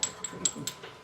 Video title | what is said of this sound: Part 2 epic swap. UK, Australia, France, Arizona, New Mexico, and Florida | even kind of sounds like glass almost